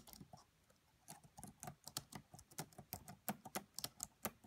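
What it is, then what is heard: Plastic laptop keyboard. Long manicured nails and fingertips of both hands type rapidly on the black plastic chiclet keys of a red laptop with a hollow body. The result is a quiet, irregular patter of short, bright, dry clicks with a soft low thud under some taps. About 18 taps stand out over the clip.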